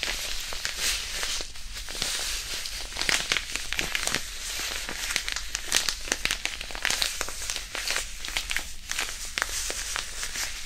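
A small white disposable hand warmer, a non-woven fabric pouch filled with iron powder, is held beside the microphone and squeezed and crumpled with the fingertips. The result is a steady, close, bright crinkling with many quick crackling peaks over a faint low hum.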